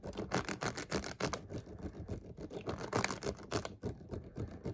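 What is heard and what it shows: A clear, ridged plastic water bottle, partly full and held sideways, is tapped and scratched with fingertips and nails. It gives a rapid, uneven run of short, dry taps with a hollow low body and crinkly, bright scratching between them. Each hit dies away almost at once.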